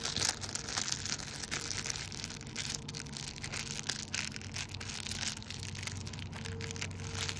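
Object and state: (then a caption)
Clear plastic bag. A small, thin, empty clear plastic packaging bag is held between the fingers and crinkled and rubbed by the fingertips. The result is a continuous, dense, bright crackling and rustling that stays fairly even for about seven seconds, with a faint low steady hum underneath.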